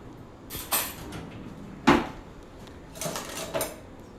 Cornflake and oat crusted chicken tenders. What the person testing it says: You can hear how crispy they've gotten since they've been in the oven